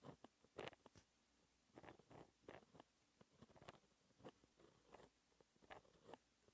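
A white gel pen held in the fingertips scratches across a flat sheet of black, lined, textured paper while writing math equations. The sound is a series of short, dry scratching strokes with quiet gaps between them, with brief bright bursts and no ring.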